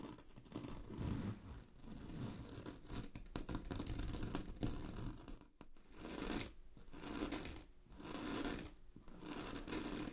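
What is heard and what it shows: Long glittery fingernails quickly scratch a large sheet of shiny blue satin synthetic fabric lying flat. The result is a steady, soft rasping scratch with a low rumble and a faint bright hiss. The scratching comes in repeated bursts, with short quiet gaps in the second half.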